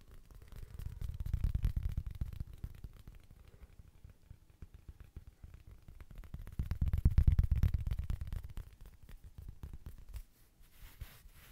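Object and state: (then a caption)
Woven fabric mini rug coaster. Fingertips and nails tap and scratch the surface of a small, thin, solid square woven rug-style coaster with a red patterned fabric face, held in both hands close to the mic. The result is a dense stream of soft, dull, low thuds and scratchy rustles that swell louder twice before fading.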